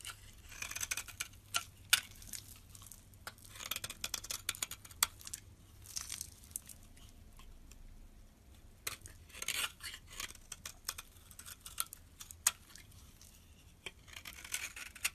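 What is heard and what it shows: A solid green rectangular bar of soap held in the palm is scraped and shaved with a metal box-cutter blade. Quick, dry, bright scraping strokes and crisp shaving rasps come in bursts over a low, steady hum, with brief quieter pauses between passes.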